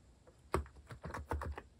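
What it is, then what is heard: Plastic mechanical keyboard typing. A compact white-cased Hanmumu mechanical keyboard with plastic cat-themed keycaps is typed on quickly and continuously with fingertips. Eight short, dull clacks land in an uneven rhythm, with a deep, muted thock and little high-end brightness.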